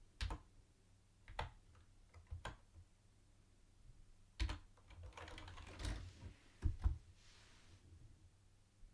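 A mint-green plastic retro keyboard with round white plastic keycaps is typed on with the fingertips of both hands, giving scattered short, dry clicks and clacks with a low thump beneath. Around the middle the keystrokes come in a denser burst, then the hands lift off and it goes quiet.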